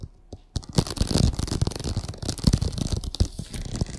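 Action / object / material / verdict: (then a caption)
scrape / vinyl oilcloth tablecloth on a table / vinyl / none. Long acrylic nails scratch and tap the surface of a printed vinyl oilcloth covering a flat table. After a near-silent start, dense, crackly scratching sets in at about half a second, with soft, dull taps thudding through it and a bright, papery rasp on top.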